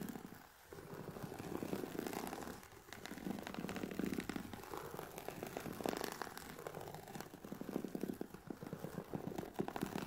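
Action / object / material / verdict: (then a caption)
scrape / fabric-covered hard-shell headphone case / woven fabric / none. Long painted nails from both hands scratch across the textured woven fabric of a closed, oval, grey hard-shell Sony WH-1000XM4 headphone case, presumably with the headphones inside, lying on a black fluffy mat. A steady, dense, fast scratching rasp fills the clip, mostly soft and low-to-mid in tone, with brief quieter pauses near the start and around the three-second mark.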